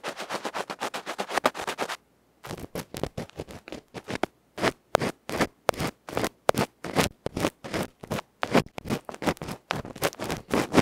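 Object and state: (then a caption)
Electret microphone capsule scratched with an ear pick. A bamboo ear pick scratches the felt face of a tiny electret microphone capsule, a metal can with a felt cover, held between fingertips. Rapid, rough scratching strokes sound close and loud, with a midrange rasp and a bright edge. After a brief pause around the two-second mark, the strokes resume as a fast, uneven run of sharp scrapes.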